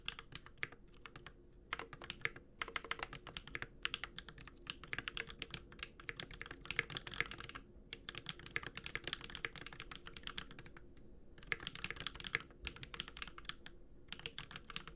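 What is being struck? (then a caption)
Mechanical keyboard with plastic keycaps and metal case. A Space65 Cybervoyager, a 65% metal-case mechanical keyboard with Holy Panda switches and ABS plastic keycaps, is typed on continuously with the fingertips of both hands. Dense bursts of sharp, bright clicky-clacky keystrokes are heard, separated by brief pauses. A faint low hum runs underneath.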